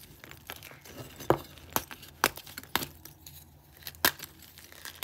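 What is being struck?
Dyed gym chalk blocks.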